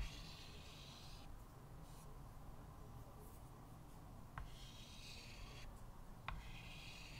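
A stick of white chalk held in the fingertips scratches and draws lines, sketching a jellyfish, on a small square chalkboard with a thin wooden frame lying flat on a table. Bright, gritty scraping strokes come in bursts separated by quiet pauses, and two sharp taps mark where the chalk meets the board, all over a steady low hum.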